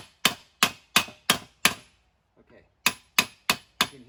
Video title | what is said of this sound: How to..Mercedes W163 front wheel bearing replacement..LONG !! | you can hear that stiffer it's hard to explain it's a stiffer sound